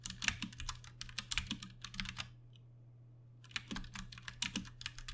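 Both hands tap with their fingertips on a compact 60% Ducky One 2 Mini mechanical keyboard with plastic keycaps, Cherry MX Brown switches and RGB backlighting, resting on a desk. Quick, bright clicky keystrokes come in bursts, pause for about a second in the middle, then resume. A steady low hum runs underneath throughout.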